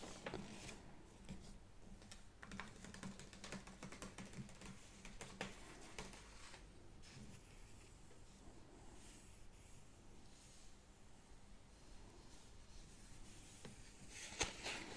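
Long red-painted nails tap and scratch across an open sports magazine with thin glossy paper pages lying flat on a wooden table. Quiet, irregular, bright clicks mix with soft papery scratching over a faint low hum, and a sharper, louder tap lands near the end.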